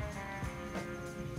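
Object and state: Nothing is struck.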